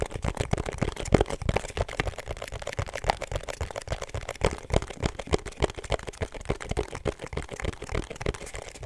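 A small, rigid, hollow pink cardboard perfume box with a black seal is tapped quickly with long nails and fingertips. The result is a dense, uneven stream of dry clicks over a soft, low, hollow thump, each tap dying away at once with no ring.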